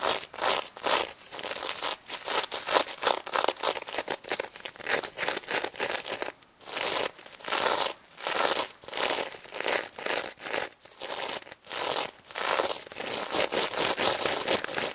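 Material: Plastic sequins.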